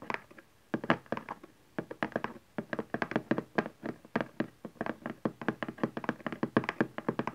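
Fingertips and nails knock and tap the panel of a cardboard camcorder box lying on its long side on satin fabric. A quick, irregular run of short, dry, papery thunks and taps that die away almost at once, with a hollow low-mid body and a brief pause near the start.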